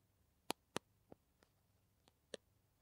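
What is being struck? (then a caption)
Soft plastic tube. Long nails tap and scratch a small, soft-walled green plastic Kamill hand cream tube held in both hands, striking its surface and cap end. Six short, dry clicks stand apart against near silence, three of them louder and bright, with no ring after each tap.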